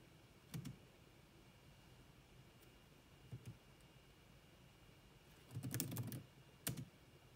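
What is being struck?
Plastic laptop keyboard.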